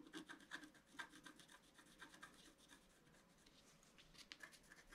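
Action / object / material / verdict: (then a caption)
scrape / scratch-art paper card scratched with a wooden stylus / coated paper / none. A pointed wooden stylus scratches across a flat A4-size scratch-art card, with its black coating over a colored foil layer, lying on a table. Short, dry scratching strokes come in irregular bursts, with a quieter, steadier rubbing passage in the middle. The sound is a bright, rasping scrape with little low end.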